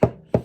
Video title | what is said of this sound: Dark Souls Crystal Lizard - The Unboxing #4 | you can hear that bang on the table. It does look like it can handle a fall or two.